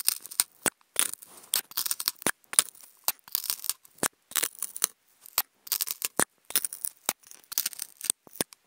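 Wooden toothpicks scratch across a hollow, octagonal white polystyrene foam food container. The result is a series of short, dry, bright scraping bursts broken up by sharp ticks and clicks, with brief silent gaps between strokes and almost no low end.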